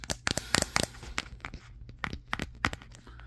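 A Samsung Galaxy S23 with a matte glass back, held in both hands, is tapped on the back with fingertips and nails. A quick, uneven run of short, bright clicks sounds; each ends almost instantly over a faint low hum.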